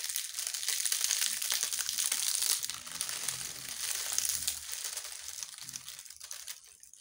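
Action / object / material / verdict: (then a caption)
scrape / bundle of dried leaves / dried leaves / none. A bundle of dry, brittle yellow-brown leaves is held close to the camera and face while fingers with long nails crush, crinkle and rub it. A dense, bright crackling and rustling is loudest for the first couple of seconds, then eases to softer crinkles that gradually fade.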